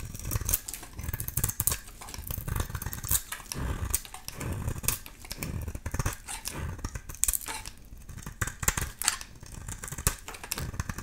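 A solid oval bar of soap, painted black with a green interior and held in the hand, is shaved with a utility knife blade. The result is a rapid series of dry, crisp scraping and cutting strokes with bright, high crackle over a soft low rumble.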